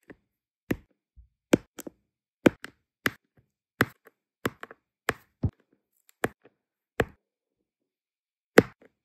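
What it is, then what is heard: Resin diamond painting drills being placed on adhesive canvas. A plastic drill pen tip taps down repeatedly to place small solid round resin diamond painting drills, in many colours, onto a flat sticky adhesive canvas. About a dozen short, soft, dry clicks come at uneven intervals, each dying away almost instantly. Some clicks are followed by a fainter secondary tick.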